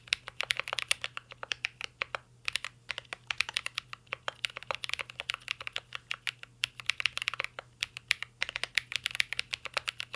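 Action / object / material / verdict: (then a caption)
tap / mechanical keyboard with metal case and plastic keycaps / metal, plastic / none. Fingertips of both hands type continuously on a mint green Cyberboard R3 mechanical keyboard with a metal case and plastic keycaps. The result is a rapid, steady stream of sharp, bright clicks and clacks with almost no low end, broken by brief pauses between bursts.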